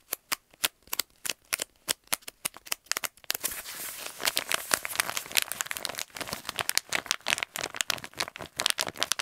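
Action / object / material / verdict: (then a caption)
tap / kraft paper stand-up pouch / kraft paper / none. An empty, hollow kraft paper stand-up pouch is held up and tapped quickly with fingertips and nails, giving a fast run of sharp, dry, bright clicks. After about three seconds it turns into dense, continuous crinkling and scratching, with crisp taps still cutting through the high, papery rustle.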